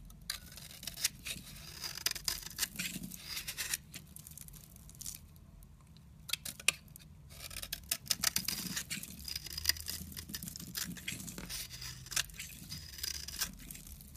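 A utility knife blade scrapes and cuts thin slices off a solid rectangular orange bar of soap held in the hand. The result is dense, bright, crisp scraping and crackling clicks with short sharp snaps, easing briefly near the middle before resuming.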